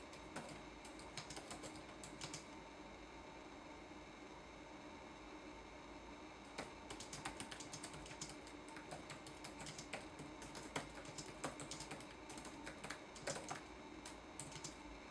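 Fingertips type on a red-backlit laptop keyboard with plastic keycaps, producing soft, bright, clicky taps over a low steady hum. A short flurry of keystrokes in the first two seconds gives way to a quiet pause, then steady typing runs from about 6.5 seconds to the end.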